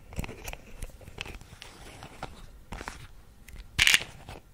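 Fingertips and nails tap and scratch the screw cap and label of a small white plastic Vitrum pill bottle held close to the microphone. The hollow container gives off crisp, bright, crunchy clicks and scratches that die away almost at once. The loudest scrape comes near the end.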